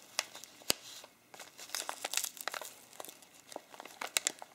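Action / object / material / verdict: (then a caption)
scrape / foil-lined plastic coffee bag / plastic foil / none. Both hands grip and fold the fold-over top of a partly full, medium bag of ground coffee made of printed plastic and foil laminate, the fingers crinkling and crumpling the laminate. Bright, crackly crinkles and sharp snaps come in quick, uneven bursts with a brief lull near the second mark. The sound is thin and high, with almost no low end.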